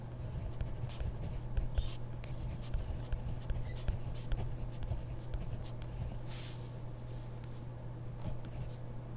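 A hand writes with a ballpoint pen on a grid paper notebook page, the pen tip scratching the paper in quick, light strokes with sharp little ticks. The strokes sit over a steady low hum, and the writing grows softer toward the end.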